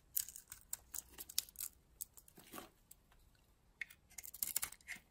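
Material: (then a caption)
Soap. A metal blade cuts and scrapes chips off a solid red and purple oval bar of soap held in the hand. Quiet, bright, crisp scraping and crackling strokes come in clusters with short pauses between them. Each stroke stops dead, with almost no low end.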